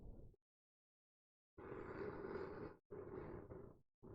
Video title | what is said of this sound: ASMR - Book tapping, Book scratching, and soothing reading. | The spine of the book is a different material.